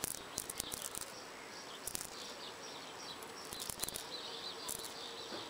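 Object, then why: Brick wall. Long purple fingernails scratch over the rough surface of a solid red brick wall with mortar lines, outdoors. Bright, dry scraping strokes come in short bursts and sharp clicks over a faint steady background hiss, with a high insect-like buzz.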